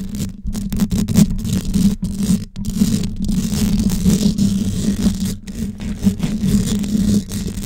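Long yellow nails scratch and tap the hollow metal mesh grille on top of a gold desktop condenser microphone. A steady, dense scraping texture with a low hum near 200 Hz is broken by quick taps, and the sound stays muffled with little high-frequency content.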